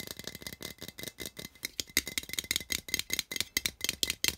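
Fingertips and nails rapidly tap and scratch the metal lid of a small, hollow-looking cylindrical metal tin with a colorful printed wrap and an exposed metal end. About 23 quick, dry, rattling clicks sound in an uneven run, each one bright with a faint metallic ping near 2 kHz that dies almost at once.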